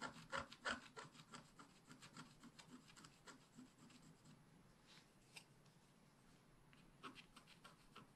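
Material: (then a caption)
Coated paper. A wooden stick scratches across a black-coated scratch-art paper page held flat by hand, working near the unicorn's tail. Quick, fairly regular scratching strokes, about three per second, give a dry, bright rasping texture with a low woody undertone. The strokes start loudest, soften through the middle, and return in a few sharper scrapes toward the end.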